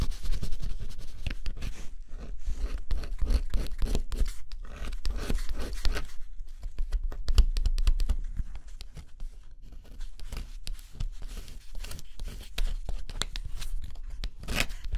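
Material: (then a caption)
Cardboard. A stylus scratches the coating on the thin cardboard edge of a scratch-off jigsaw puzzle, heard close up. Dense, rapid scraping strokes crackle bright and dry, with brief pauses and a low rumble underneath throughout.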